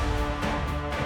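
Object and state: Nothing is struck.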